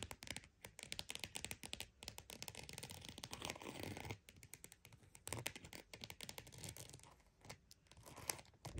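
A croc-embossed purse is tapped and scratched with quick, dry strokes that come in dense crackly bursts. A steadier stretch of rough scratching builds in the middle before the sharp tapping returns. The sound is bright and crinkly, with short clicks and no ring after each touch.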